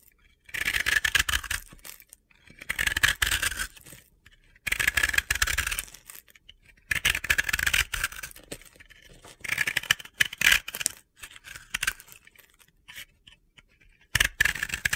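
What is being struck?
Pressed-powder bath bomb.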